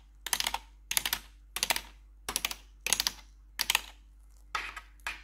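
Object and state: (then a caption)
Plastic computer keyboard tapped with metal nails. Rapid typing and tapping on a black plastic RGB backlit computer keyboard with four long pointed metal nail claws worn over blue gloves. About eight short bursts of bright, clattering clicks come in quick succession, each ending sharply with no ring, over a faint low hum.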